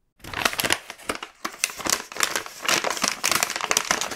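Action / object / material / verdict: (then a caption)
scrape / plastic-film snack bag / plastic film / none. A large, full, red plastic-film KitKat multipack bag is held and pressed by the fingertips, crinkling and crushing. Rapid, bright, crackly bursts come in uneven clusters with almost no low end. Each burst is sharp and dies away almost at once.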